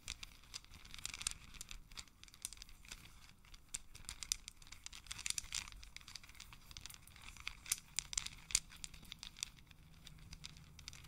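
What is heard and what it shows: A long strand of small, solid, round wooden beads is held in both hands while the fingers roll and rub the beads together so they click against each other. Quiet, bright, dry clicks and crinkly rustling come in dense, irregular bursts with very short decay, over a faint low rumble.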